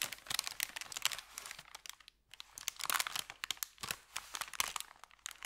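Fingertips press and rub an empty, thin kraft paper bakery bag folded into a strip on felt, crinkling it. Dense, bright crackles and sharp snaps with almost no low end continue throughout, broken by a brief quiet gap around the two-second mark.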